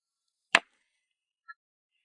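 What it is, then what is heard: Adjacent rock, dull with no ring. A rock next to the ringing bell stone is struck once with a stone to compare, giving a single sharp, dry crack across a wide range of pitches. The crack stops almost instantly with no ring, showing this neighbouring rock is solid and does not sound like the bell stone. A faint, brief high tone follows about a second later.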